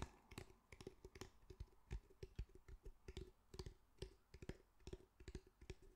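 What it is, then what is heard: Fabric-covered cylindrical speaker. Fingertips tap and lightly drum on the sides of a grey fabric-mesh cylindrical speaker held in the hands. About two dozen short, dull, low thuds come in an irregular rhythm, each dying away almost instantly.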